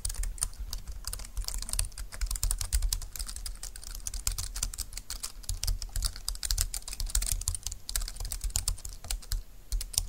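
Fast two-handed typing with fingertips and nails on a compact dark green plastic low-profile keyboard with flat keys and a hollow plastic body. A steady stream of dense, light, bright clicks and clatters with a soft low thump beneath, each keystroke dying away almost at once.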